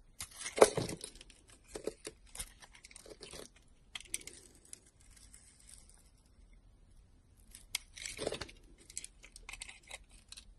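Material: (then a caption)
Soap. A solid white soap bar with a red rim, held in a hand with long pink nails, has slices cut off it with a utility knife blade. Short, crisp, bright scraping and crunching bursts come in irregular clusters with quiet gaps between them. Each cut stops almost instantly, with no ringing.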